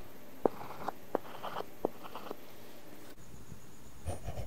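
A stylus tip scratches across a flat iPad glass screen fitted with a matte, paper-feel plastic film while writing letters. Four sharp tapping strokes stand out, followed by soft, dry scratching. A brief bright rustle comes near the end.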